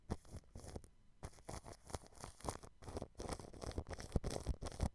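A thin, fine-tipped paintbrush brushes the grille of a white dome microphone covered in clear cling film. Quick, irregular strokes make soft crinkling and scratching bursts with a heavy, muffled low rumble, separated by brief quiet gaps.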